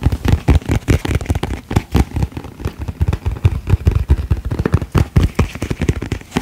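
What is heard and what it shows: Fingertips and nails tap quickly and unevenly on the lid and sides of a medium, round, hollow plastic cotton candy tub with a purple plastic lid, held up in the air. The taps are short, dull and bassy, with little ring, and come in a steady, irregular stream.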